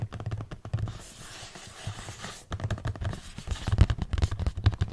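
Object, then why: Cardboard product box. A hollow, printed cardboard product box is held close and rapidly tapped with fingernails on its faces, giving quick, dull, low thuds. A softer, scratchy stretch with fainter taps comes in the middle before the fast tapping picks up again, louder and denser toward the end.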